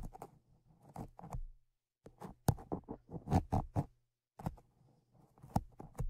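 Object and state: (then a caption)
Metal microphone grilles scraped with tweezers. Tweezers scratch and scrape the metal grilles of the Zoom H5's X/Y microphone capsules, producing close, crackly bursts of scraping and tapping with a steady low hum beneath them. The scraping comes in quick clusters separated by two brief silent pauses.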